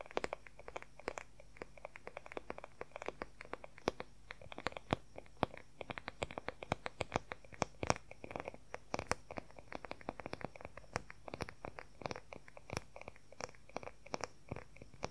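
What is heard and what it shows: Fingernails scratch and tap fast on the oval wooden back of a wooden paddle hair brush. A dense, quiet stream of sharp, dry clicks and scratches, each dying away almost at once, runs steadily over a faint low background hum for the whole clip.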